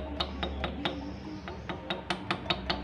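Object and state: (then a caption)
Loose, worn connecting rod with excess play. A worn, loose steel connecting rod in an engine damaged by running out of oil is moved by hand through an oversized gap, giving eleven sharp, bright metallic clinks with short rings over a low steady hum. The clinking reveals excessive play in the rod.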